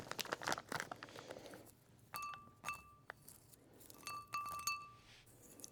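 A small glass container, likely the one holding used Q-tips, is tapped during a manicure. Bright, ringing glass clinks with clear tonal lines ring out over soft rustling and crinkling. No count is given because the hits run together.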